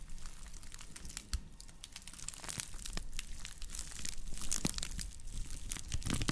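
Long nails scratch across the woven rim and base of a round woven straw plate made of natural fiber as it is rotated close to the microphones. The result is a dense, irregular stream of dry crinkling scratches and sharp, bright clicks over a faint low rumble, with each sound stopping almost instantly.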